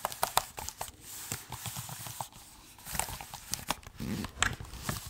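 Fingertips tap on the plastic keys and body of a silver laptop held in the hands. Quick, irregular clicks and taps come in bursts, each short and dry with a bright edge and a soft, low knock beneath, separated by brief quiet gaps.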